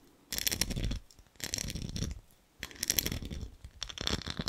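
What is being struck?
Small ribbed glass jar with metal lid.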